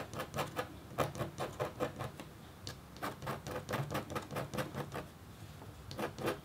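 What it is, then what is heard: Copper scratch art board being scratched. A metal-tipped red stylus makes rapid, short scratch strokes across a thin, solid, flat black-coated copper-foil scratch art board. About 25 quiet, dry scrapes sound in an uneven rhythm, each a brief bright rasp with a faint low rub beneath it. Each stroke dies away almost at once.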